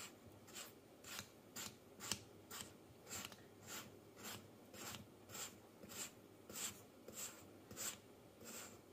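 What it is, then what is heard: Kinetic sand being cut and scraped. A hand uses a thin wooden stick tool to cut and scrape through a pile of solid yellow kinetic sand with sliced layers on a white table, breaking off crumbly slabs. A steady series of soft, bright, gritty scraping swipes repeats at about one every half second, each brief and crisp with a faint low rumble underneath.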